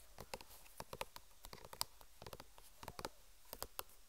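A white plastic squeeze tube of cream with a red cap band, apparently full, is held horizontally in both hands and tapped with long nails and fingertips. The result is an irregular patter of quiet, sharp, dry clicks with no ring, each one dying away at once.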